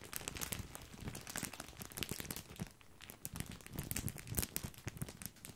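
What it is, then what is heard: Plastic bag of breadsticks being crinkled. A full, large white printed plastic bag of wavy grissini, tied at the top, is held in the hand and squeezed and crinkled with the fingertips close to the mic. Dense, bright crackling and crinkling pops run throughout, mixed with soft low rustles. There is a brief quieter lull near the middle.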